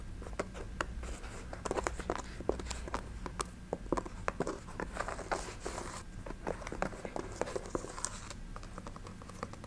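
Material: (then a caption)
Synthetic leather. Long nails scratch and tap on the synthetic leather upper and the sole of a chunky synthetic sneaker held upright. The sound is a quick run of dry, clicky taps mixed with soft, rasping scratches. Each tap stops short with no ring.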